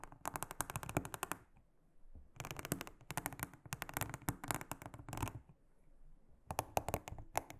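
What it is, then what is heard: Silicone honeycomb trivet mat being brushed. A small silicone-headed brush is rubbed and scratched across the cells of a large, round, flat, solid blue silicone honeycomb trivet mat. It makes rapid, dry, clicking ticks with a soft, bright rasp, in three bursts separated by short quiet pauses.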